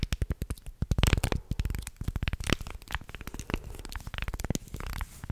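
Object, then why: Small carved wooden guiro scraped with a wooden stick. A thin wooden stick scrapes along the ridges of a small, carved, light-wood shark-shaped guiro with a grooved body, held close to the mic. Rapid, dry ratcheting clicks come in uneven bursts, heavy in the low end from the close mic. Each click dies away almost instantly.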